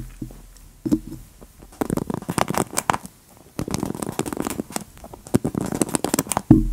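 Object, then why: Wooden paddle hairbrush with plastic bristles. Long nails scratch and rake along the black plastic bristles of a wooden paddle hairbrush held sideways close to the mic. Dry, crackling bursts of raking come in uneven runs with brief quiet gaps, and dull low thumps sound near the start and end.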